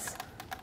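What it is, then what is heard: Wooden furniture piece. Quick light taps on a decorative wooden furniture piece bought on sale give short, dry knocks with a bright woody click that dies away almost at once.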